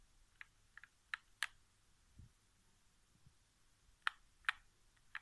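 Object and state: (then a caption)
Plastic game controller. Fingertips tap the thumbsticks and center area of a hollow white plastic PS4 game controller resting on carpet. Several short, dry, bright plastic clicks arrive at an irregular pace with no ring, and a couple of soft low thumps fall between them in a quiet setting.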